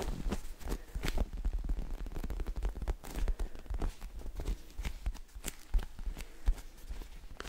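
Fingertips tap, scratch and squeeze a small, soft, solid polyurethane foam squishy s'more toy with orange cracker layers and a white marshmallow middle, held close to the mic. The result is a dense run of soft, dull, crackly taps and rustles that die away almost instantly, with most of the energy down low and only faint bright scratchy ticks above.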